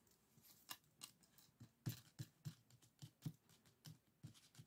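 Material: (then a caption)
Bamboo. Fingertips and nails scratch and tap the rib stack of a closed bamboo folding fan standing on its edge on a wooden table, its ribs and paper folds showing. The result is an irregular series of short, dull taps with low thumps, mixed with bright, dry scratching clicks that die away almost at once.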